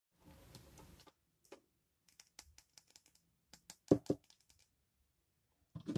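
A utility knife blade shaves and scrapes curls off one end of a palm-sized, solid rectangular bar of yellow-brown AIST household laundry soap held in one hand. A dry, rough scrape opens the clip, followed by a scattered series of short, crisp ticks and scratches, with two louder crunches near the four-second mark and a final burst at the end.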